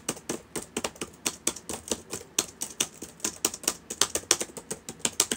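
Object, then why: Plastic laptop keyboard. Fingertips of both hands type on the plastic keys of a black laptop with a hollow body, open on a table. About 29 quick, bright, clicky taps come in an uneven rhythm, each dying away almost instantly with a faint hollow knock beneath it.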